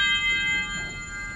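A plain, ordinary steel rod, tapped in a physics demonstration of vibration modes, rings clearly at its resonant frequency. A bright, sustained metallic tone around 2 kHz with stacked high overtones hangs throughout the clip and slowly fades.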